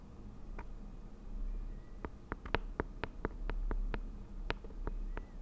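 Long nails tap and scratch the lid and side of a round, green, medium-size Nature Republic aloe vera gel jar, a hollow plastic jar with a lid that appears filled. Crisp, short clicks of tapping and scratching, each dying away almost instantly, sound over a steady low hum.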